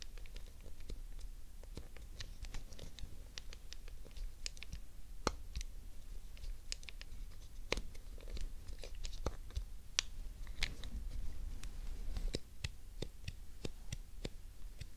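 Long decorated acrylic nails tap and click the face buttons, the shell and the back-edge shoulder buttons of a hollow grey hard-plastic PlayStation 1 controller held on a fluffy rug. The result is a quiet, steady stream of sharp, bright plastic clicks and taps that die away instantly, over a soft low rumble.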